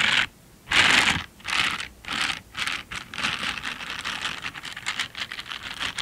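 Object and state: Silicone scrubber gloves rubbed together.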